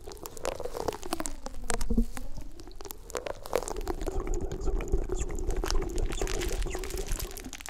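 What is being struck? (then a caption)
Plastic corrugated tube. A hollow, ribbed, collapsible black plastic corrugated tube about forearm length is held in both hands close to the microphone and squeezed, compressed and stretched while fingers rub along its ridges. Dense, irregular plastic clicks and crinkles run throughout over a heavy low rumble, with a hollow, wavering hum that bends in pitch as the tube changes length. Sharper bright ticks stand out here and there.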